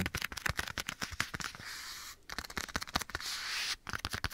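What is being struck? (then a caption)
Leather glove on a hand. Fingertips and nails tap and scratch a black leather glove worn on a hand held at the right side of the microphone. Bursts of quick, crisp clicking taps alternate with two longer stretches of steady, hissy scratching across the leather.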